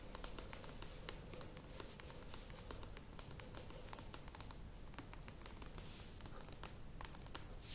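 Long nails tap and scratch the printed sides of a cylindrical plastic yogurt tub standing on a table. The result is a steady stream of quick, dry clicks with bright edges and no ring, mixed with soft scratchy rustling over a low rumble. A brief louder burst of noise comes at the very end.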